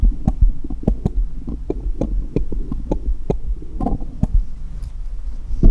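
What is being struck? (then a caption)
Small steel jeweller's screwdrivers. A hand holds one small solid steel jeweller's screwdriver and taps it against a cluster of others resting on cloth. The metal-on-metal contact makes quick, short clicks with faint bright edges over a steady low, thumping rumble.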